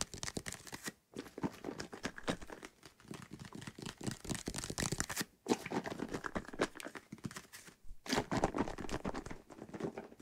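Fingertips tap and scratch a white plastic bottle of soapy water held close to the mic while it is tilted. The result is a dense run of quick, dry crinkling taps and scratches with bright edges, broken by brief silences around 1, 5.4 and 8 seconds.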